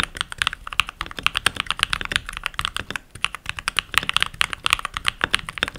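Continuous typing on a full-size backlit mechanical keyboard with pink plastic keycaps, pressed with short-nailed fingertips while rings are worn on the fingers. Rapid, bright plastic clicks and clacks tumble out in quick bursts with almost no ring after each press, centered around 1.9 kHz with little low end.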